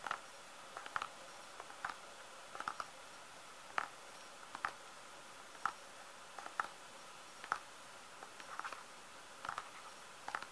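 Fingertips tap on a filled plastic squeeze tube of hand cream, making a series of short, soft, dry taps at an irregular pace. Each tap is a quiet, hollow tick centered around 1.3 kHz with almost no ring, some falling in quick little clusters over a faint, steady background hiss.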